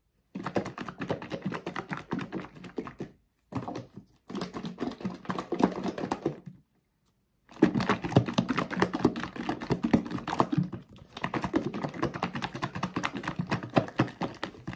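A blue plastic bath soak bottle filled with liquid is shaken and tilted by hand, making dense bursts of thick sloshing and gloopy liquid sounds with soft plastic knocks. Three or four shaking bouts are separated by brief pauses. The sound stays mostly low and warm.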